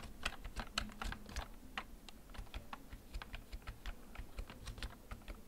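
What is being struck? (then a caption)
Plastic computer keyboard. Fingertips press the keys of a black plastic backlit computer keyboard held in front of the recorder, typing at a slow, steady pace. About 29 short, crisp plastic clicks with bright tops sit over a low, steady hum, each tap dying away almost at once.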